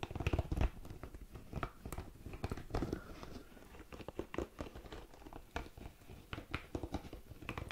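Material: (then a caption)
Silicone. A hand-sized red spiky ball of soft silicone or rubber is held close to the mic and tapped and scratched with long nails and fingertips. The result is a steady run of quick, dull, crinkly taps and scratchy rustles, heavy in the lows with short, dry attacks that die away almost instantly.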